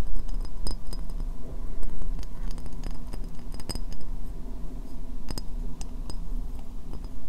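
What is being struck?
Ceramic bowl.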